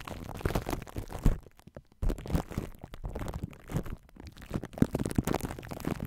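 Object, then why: Plastic cling film over a metal mesh microphone grille. Long nails and fingertips rub and scratch plastic cling wrap stretched over a hollow metal mesh microphone grille, crinkling the film against the head. The result is a dense, muffled, low-heavy rustle of crackles and scrapes, with a brief near-silent gap just before the two-second mark before the crinkling resumes.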